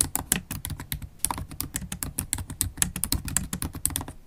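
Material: Plastic.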